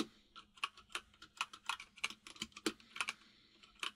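Fingertips of both hands type on a full-size mechanical keyboard with white and grey plastic keycaps, producing about 18 quick, bright plastic clacks at an uneven rhythm. Each keystroke is short and dies almost instantly, with only a faint steady hum underneath.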